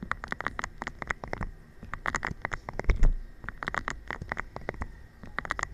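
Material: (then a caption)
Rubber. A thin stick taps and rubs across a hollow, air-filled green rubber/PVC spiky balance cushion covered in nubs. Quick irregular patters of light taps with bright clicking edges sit over a dull, low, hollow thump, mixed with soft scratchy rubbing. The taps die away almost instantly.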